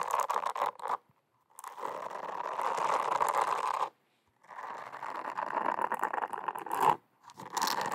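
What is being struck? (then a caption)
Silicone cleansing pad scratched with fingernails. Long acrylic nails scratch and tap the surface of a small, round, teal silicone face scrubber, a solid flat cleansing pad with holes. Dense, crackly scratching centered in the midrange comes in three bursts separated by short silences, with quick tapping flickers and brief high crisp edges.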